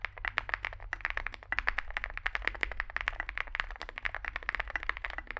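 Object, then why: Mechanical keyboard with plastic keycaps. Fingertips type continuously on a small Zoom65 65% mechanical keyboard with a dark case and white and grey plastic keycaps. A rapid, uneven stream of short, dry clacks peaks around 1.8 kHz with bright tops, and each keystroke dies away almost instantly over a steady low rumble.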